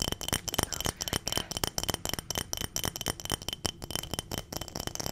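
A clear glass mason-style jar full of small dried round berries or beads is tapped with long nails and shaken. A rapid series of sharp glassy clicks mixes with the rattling of the contents inside, each hit dying away almost at once.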